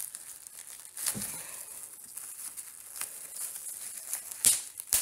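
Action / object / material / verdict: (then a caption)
scrape / plastic bubble wrap sheet / plastic / none. Two bare hands use their fingertips to pinch, squeeze and pop the small air-filled bubbles of a large, clear plastic bubble wrap sheet lying on a speckled stone surface, crinkling the sheet as they go. A soft, bright crinkling hiss runs throughout, broken by sharp, snappy pops, with the loudest pops coming near the end.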